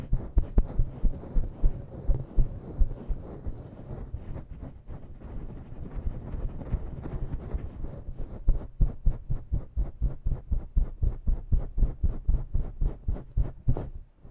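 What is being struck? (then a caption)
Synthetic fur microphone windscreen. Long nails scratch and dig roughly into a synthetic-fur microphone windscreen, producing dense, low, thumping rubs and muffled scrapes. The strokes come as a fast, uneven string of soft thuds, settling into more separate, rhythmic pulses after the midpoint before tapering off.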